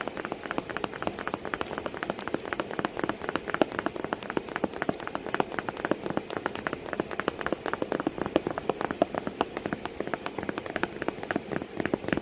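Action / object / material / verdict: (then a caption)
tap / cardboard box / cardboard / none. Continuous tapping on a cardboard box with a cat sitting inside it. The taps come in a dense, steady patter of short, dry hits that blur together like raindrops on a surface, centered in the low-mid range with very little ring.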